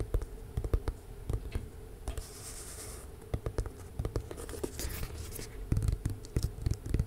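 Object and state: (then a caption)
Cardboard box. A tall rectangular lilac box that looks like hollow cardboard is held upright and tapped and scratched with long nails. Soft, dull, low taps come in quick irregular runs, broken by brief bright scratching bursts across the surface. The result is a muffled, hollow patter with short hissy scrapes.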